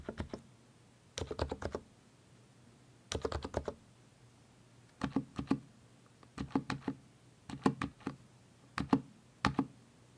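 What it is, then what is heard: Mechanical keyboard with plastic keycaps. One hand presses the keys of a mechanical keyboard with plastic keycaps using its fingertips, typing in eight short bursts of rapid clicks separated by brief pauses. Each keystroke gives a dry, quickly fading clack with a low thock body and a bright click on top.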